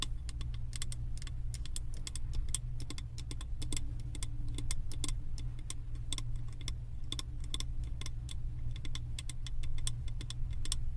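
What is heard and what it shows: Long acrylic nails tap rapidly on the side of a large glass candle jar that is filled with solid wax, printed with house designs, and held in the hands. The taps make quick, bright, dry clicks that die away almost at once. A steady low hum runs underneath the whole time.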